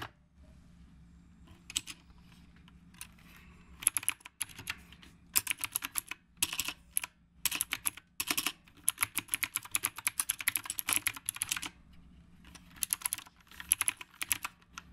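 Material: Plastic.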